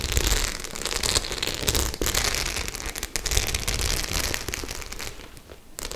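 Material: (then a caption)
Faux leather. Long nails scratch and tap the studs on a white studded faux-leather clutch bag, making a dense, continuous crackling rustle with bright, hissy scrapes over a low rumble. The sound stays busy throughout, thinning out briefly near the end before picking up again.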